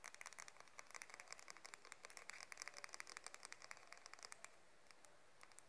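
Long mauve fingernails tap and run along the wide and fine teeth and the spine of a light wooden hair comb held crosswise. The result is a rapid, uneven run of quiet, dry, bright clicks and ticks with almost no ring. They stop shortly before the end, leaving a faint hiss.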